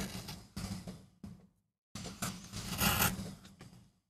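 A wooden-handled gouge scrapes cuts into a small, flat, solid MDF relief printing block, held down by hand on a rubber mat. Several short rasping strokes come in two bursts separated by a brief silence, each with a low hum under it and a dry, gritty high edge. The strokes end sharply with little ring.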